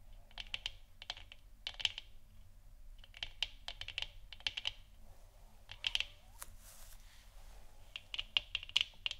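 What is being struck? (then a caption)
3D-printed plastic moon lamp sphere. Long nails tap the top and sides of a large hollow 3D-printed plastic moon lamp sphere, lit orange and resting on a wooden stand. Quick, dry, bright clicks come in irregular clustered bursts, each dying away almost instantly, with a brief soft scratching swish partway through.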